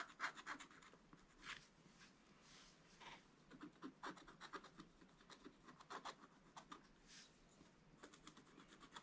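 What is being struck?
Wax-coated scratch-art paper scraped by a wooden stick.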